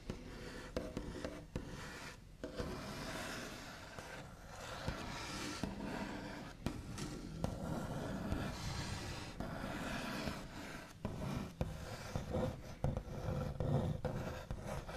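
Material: Wood.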